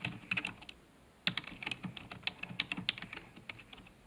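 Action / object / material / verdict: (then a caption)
tap / plastic computer keyboard / plastic / none. Fast fingertip typing on a black plastic computer keyboard resting on a desk. Quick, dry, bright key clicks with very short decay come in a burst, stop for a pause of about half a second, then resume in a steady, uneven run.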